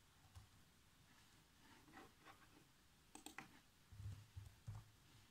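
Fingertips type on the black plastic keys of a laptop keyboard, making quiet, irregular clicks and soft taps. A cluster of sharper, brighter clicks lands near the middle, followed by a few duller, low thumps toward the end, each dying away almost at once.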